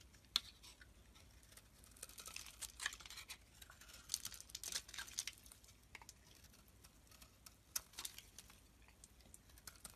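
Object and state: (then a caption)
Bar soap being carved. A metal blade shaves and carves the surface of a solid, rectangular green Nesti soap bar held in the hand. Quiet, bright scraping and crisp crackling flakes come in irregular bursts, with sharp little clicks that die away almost instantly. A faint low hum runs underneath throughout.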